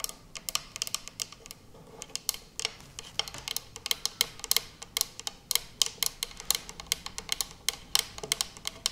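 Long purple nails tap and scratch the lid of a small round closed metal tin labeled 'Intelligente Pasta', filled with putty and resting on a speckled surface. Quick, bright clicks and ticks come in uneven bursts with almost no low end and no ring. Faint scratching fills the gaps between taps.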